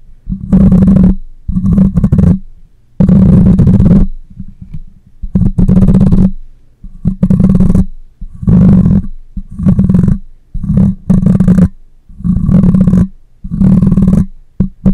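Fingernails of one hand scratch the side of the hollow metal mesh grille on a black condenser microphone. It makes repeated bursts of rough, deep rumbling scratches with short pauses between strokes. The sound is heavy and boomy, with a faint brighter rasp on top.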